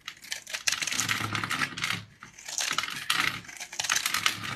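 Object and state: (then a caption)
Dried soap bar, dry. A metal blade scores and cuts a hand-sized, solid, flat oval bar of pink dried soap with a scalloped blue rim, held in one hand, scraping off small cubes. Dense, bright, crisp crackling and scraping come in several loud bursts with brief quieter gaps, and each snap stops dry with no ring.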